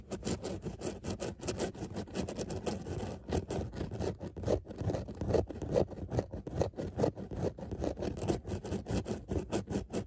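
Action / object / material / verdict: scrape / padded textile car seat with embossed dot pattern / fabric / none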